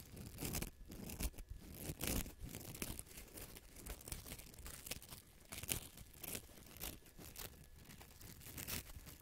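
Fingertips scratch and squeeze a small hollow yellow-green felt-covered rubber tennis ball held close to the microphone. Its fuzzy felt surface gives soft, brushy rasps and crinkly scrapes with bright hiss, over a low rumble, in uneven bursts throughout.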